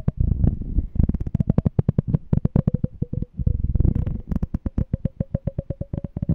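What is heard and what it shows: Fingernails tap and scratch the side of a small, clear, empty glass jar with a checkered lid, held in both hands. Dense runs of quick, dull taps with a deep low body are heard, and a faint glassy ring sits in the middle range. The taps blur together early on and spread into evenly spaced clicks toward the end.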